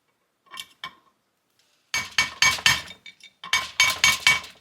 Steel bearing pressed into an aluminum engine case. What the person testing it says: it all sounds pretty solid to me, so I think that bearing's good